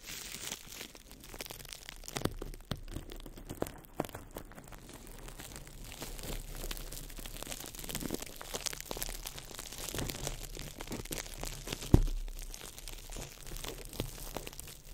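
A small ball of crumpled clear plastic wrap, held in the fingertips over the mic, is squeezed and crinkled. It makes a steady, dense crackle of fine snaps over a low rumble, with a sharper, louder crunch near the twelve-second mark before the crinkling settles back to its even level.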